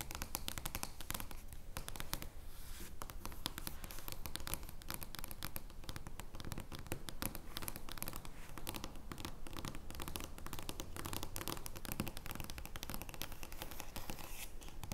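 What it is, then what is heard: Large cardstock playing card. Long nails scratch and tap a giant paper joker playing card, a large cardstock card lying flat on a table. The result is a quiet, steady stream of dry, crackly scratches and quick, dull taps that stop almost instantly, over a low rumbling background.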